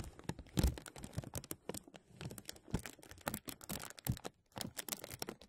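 Fingertips pinch and rub the top of a thin translucent plastic bag draped over a metal mesh microphone, making a dense run of crackly crinkles. Sharp, bright snaps come in quick bursts with short pauses, and a few heavier crunches add a low thump up close.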